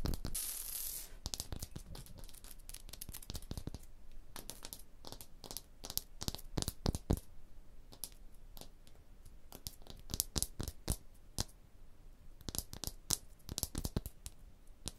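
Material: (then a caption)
Limestone. Long blue nails scratch and tap a solid, rough limestone block wall surface up close. A second of bright, hissy scratching opens the clip, then many quick, dry taps follow in uneven bursts, each dying away almost instantly against a low, soft background.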